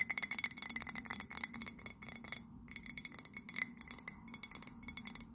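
Long nails tap rapidly on the side of an empty white printed ceramic mug held in both hands. The result is a fast, irregular stream of bright, clicky taps, each with a brief glassy ring near 2 kHz. A short lull comes midway before the tapping resumes.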